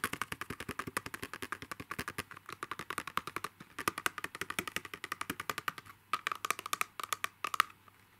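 Fingertips and short nails tap rapidly on a hollow, narrow rectangular clear plastic pen box held upright with a donut-topped pen inside. About 65 quick, dry clicks come in bursts with brief pauses, each snapping off at once with a thin, hollow tone near 1250 Hz and bright plastic edges.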